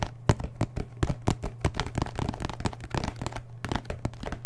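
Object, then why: Paperboard milk carton. Fingertips and nails tap and scratch the side of an apparently full 1-liter paperboard milk carton with a plastic cap, held in one hand. A rapid, uneven run of dull, hollow taps with a low thud beneath them, mixed with soft, brief scratchy clicks that die away almost instantly.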